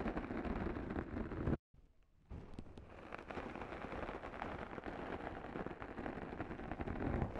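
Two small sponge scourers, yellow foam with green or teal abrasive pads, are held one in each hand with long nails and rubbed and scratched against both sides of a soft, hollow black foam windscreen on a Zoom recorder mic. The result is a dense, muffled, bass-heavy rumbling scrape mixing the abrasive pad and the mic foam. It stops briefly into near silence at about 1.6 seconds, then resumes at a steady level to the end.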